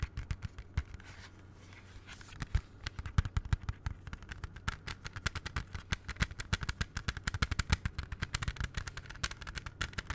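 A closed plastic CD jewel case, held in both hands, is tapped rapidly with the fingertips. The result is a long run of short, dry clicks with a low hollow thump under each tap and a bright edge on top. There is a brief quieter stretch near the start before the tapping picks back up and continues steadily.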